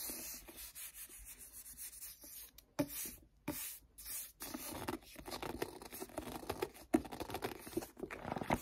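Fingertips rub and grip the glossy card cover of a striped-cover paperback book, a solid paper block. Soft, dry rubbing and friction whispers run throughout, broken by a few brief sharper grips and squeaks, with gentle short pauses between strokes.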